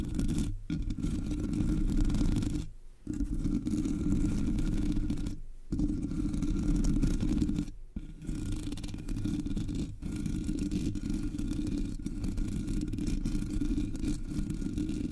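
Long nails on both hands scratch the top of a Blue Yeti microphone's black, hollow metal mesh grille. The result is a dense, continuous rasping scrape, heavy in low rumbling tones, with brief pauses near 0.6, 2.8, 5.6 and 7.9 seconds.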